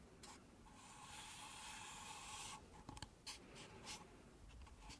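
Long nails scratch and rub the outer wall of two stacked, empty pink paper cups held sideways. A sustained, bright, raspy scratch builds for about two seconds. It is followed by a few short, dry scrapes against the hollow paper.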